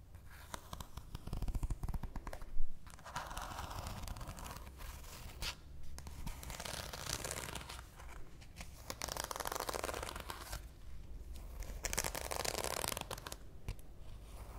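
A deck of coated paper playing cards is spread in a fan and then squared, while fingertips with long nails riffle and flick the card edges. Soft papery rustles and crisp, rapid ticking flicks come in bursts over a steady low hum, with one sharper snap early on.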